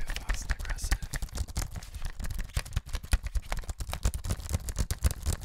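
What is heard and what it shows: A thin grey plastic wireless computer keyboard, hollow and tablet-sized, is held up close and tapped rapidly by the fingertips of a ringed hand on its keys and casing. The result is a fast, dense run of short, dry clicks and taps with a dull, low, hollow thud and almost no ring.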